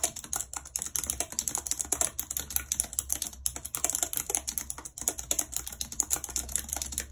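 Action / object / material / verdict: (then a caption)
tap / plastic computer keyboard / plastic / none. Long red acrylic nails type rapidly on the hollow keys of a full-size white plastic computer keyboard with a numpad, lying on a world map. The result is a dense, continuous stream of sharp, bright plastic clicks and clacks, with a faint steady low hum underneath.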